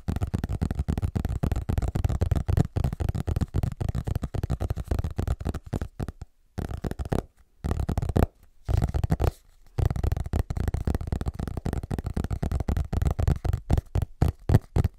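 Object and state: Hardcover book.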